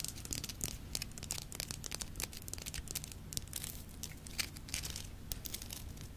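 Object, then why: Salt rock lamp scratched and tapped with fingernails. Long nails tap and scratch across the rough-faceted surface of a large, solid Himalayan salt rock lamp lit from inside. The result is a dense stream of quick, dry, crackling taps and bright scratchy rasps over a steady low rumble, each tick dying away almost instantly.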